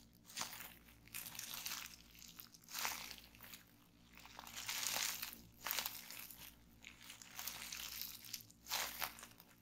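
Both hands grip and twist a fold of clear plastic bubble wrap resting on a table, squeezing and popping the bubbles. Bright, crinkly crackling comes in uneven bursts, with sharp pops rising above the plastic rustle and brief quieter pauses between squeezes.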